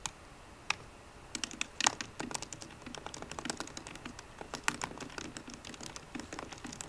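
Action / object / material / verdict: tap / laptop keyboard with low-profile plastic keys in an aluminum body / plastic / none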